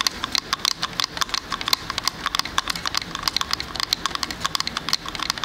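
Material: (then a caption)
Wood. A small square wooden wall sign reading "Sleigh bells ring," with a plank face and frame, is tapped and scratched with fingernails close to the mic. Quick, dry, bright clicks patter unevenly over a soft scratchy hiss, each tap dying away almost instantly.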